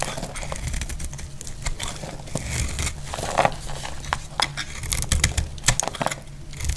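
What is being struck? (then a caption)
Soap bar shaved with a metal blade. A solid, dry dark red soap bar held in hand is shaved with a metal blade, producing curls. Dense crisp scraping and crinkling rasps repeat throughout, with sharp bright clicks over a low rumble.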